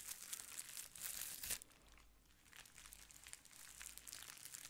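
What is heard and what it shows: A clear plastic bubble wrap sheet is held beside the mic while nails scratch it and fingers squeeze it to make it crinkle. Dense, bright crinkling and scratching fills the first second and a half, peaking in a sharp burst. It then drops to a soft hush before picking up again into lighter, intermittent crinkles.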